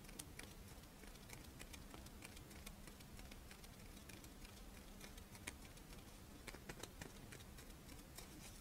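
A crisp, Doraemon-shaped rice wafer monaka is held on its side while long nails tap and scratch its ridged wafer edge and top. The result is a quiet, steady patter of short, dry, bright clicks and light scratches over a low, constant background hum.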